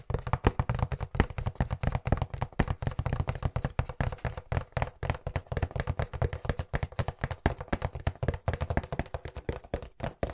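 A hollow cardboard pizza box, held upright and at times tilted on its edge, is tapped rapidly with the fingertips. Dozens of dull, low thumps follow one another in a steady, fast rhythm, each dying away almost instantly with little brightness.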